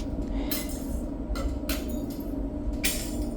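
Freshly cooled lava from a lava demonstration is struck and breaks into volcanic glass, formed because the lava cooled very quickly. Four bright, glassy clinks ring out over a steady low rumble.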